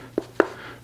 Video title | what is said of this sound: Don't Choose Your Next Rifle Until You See This Comparison | this one does not have as much of a hollow sound